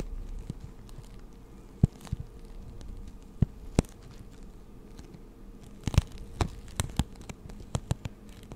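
A clear plastic blister package holding six markers is turned in the hands while long nails tap and scratch the plastic. Sharp, brief clicks and taps stand out irregularly over a steady low rumble, with soft crinkling scratches in between.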